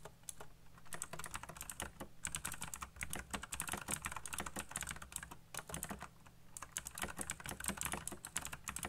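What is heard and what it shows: Fingertips type fast on a backlit plastic mechanical keyboard with black plastic keycaps, producing a rapid, dense stream of sharp, bright clicks and clacks. Short pauses break the stream near 2 and 6 seconds, and a steady low hum sits underneath throughout.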